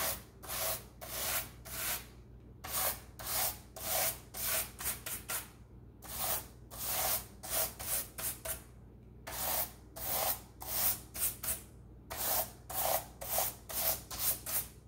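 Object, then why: Plastic laptop keyboard scrubbed with a bristle brush. A handheld scrub brush with white bristles, held in a rubber-gloved hand, is rubbed back and forth across the keys of a black plastic laptop keyboard. Bright, hissing bristle strokes come in clusters of about four to six, separated by short quiet pauses, with a light scratchy clatter over the keys.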